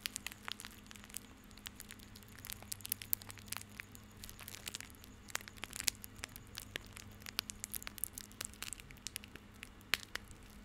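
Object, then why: Coiled bundle of plastic rope. A small coiled, tied bundle of plastic rope is held close to the mic while fingers and nails scratch and squeeze it. The result is dense, bright crackling and sharp clicky scratches with no ring, over a faint steady low hum.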